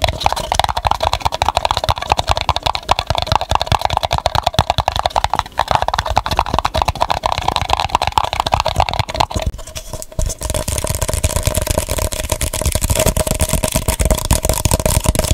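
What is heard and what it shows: Fingertips and nails rapidly tap and scratch the sides and base of an empty, hollow, light blue printed paper cup with a penguin design, held upside down. The result is a dense, continuous patter of dry, short clicks over a hollow midrange ring. About two-thirds of the way through, the texture turns into a brighter, hissier scratching.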